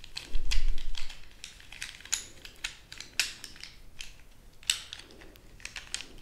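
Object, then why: Bundle of wooden colored pencils. A handful of about 15 to 20 sharpened wooden colored pencils is held in both hands and rattled and rubbed together with long nails and fingers. The pencils give off dry, bright, irregular clicks and short rattling bursts, each dying away almost at once, over a faint low rumble.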